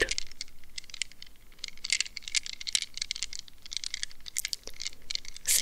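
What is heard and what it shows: Long red nails scratch across a mesh squishy stress ball, a rubber squeeze ball wrapped in a plastic net. The sound is a rapid, uneven run of dry, crinkly scratches and ticks, bright and high with little low end, each one short and sharp. The scratching stays at a steady moderate level and ends on a louder rasp.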